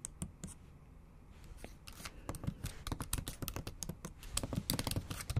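Long acrylic nail tips tap and type on the backlit black plastic keys of a MacBook Pro set in a silver aluminum body. A few sharp, bright clicks are followed by a brief quiet stretch, then rapid clacking taps that grow denser and louder toward the end. Each tap is short and dry, with a low thump beneath the bright click.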